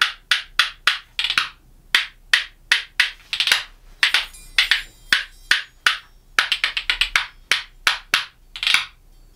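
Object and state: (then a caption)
Black walnut playing spoons. A pair of small, solid, dark black walnut wooden playing spoons, held in one hand, is struck together against the palm and knee in a rapid clacking rhythm. About thirty sharp, dry, bright clacks are heard, each dying away almost at once with no low end, in a bouncy, uneven pattern.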